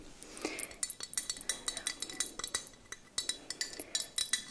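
A small, palm-sized glazed orange ceramic jack-o'-lantern figurine with a green stem and carved face, likely hollow, is held in one hand and tapped and clinked with long dark-painted fingernails. It gives a quick, uneven series of bright, sharp clicks and clinks that die away almost at once, with almost no low end.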